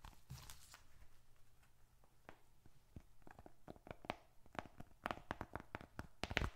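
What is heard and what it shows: A small closed dark red leather bifold wallet, hollow with bills and receipts inside, is squeezed and scratched with fingertips. It gives soft crinkling and a series of sharp clicky ticks with bright edges over a low background hum, growing denser and louder toward the end.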